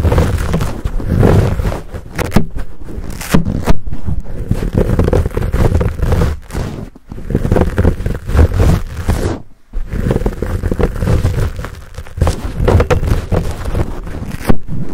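Short nails scratch and fingers squeeze a fuzzy black foam windscreen on a Blue Yeti microphone. The result is a dense, muffled, low-heavy stream of scraping, rustling and crackling with almost no high end. It runs nearly continuously, with brief pauses around 7 and 9.5 seconds.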